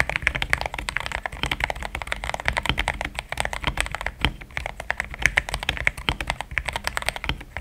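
Fingertips of both hands type continuously on a compact mechanical keyboard with plastic XDA keycaps. The result is a rapid, steady stream of short, bright clacks with a soft low thud beneath each, every keystroke dying away almost instantly.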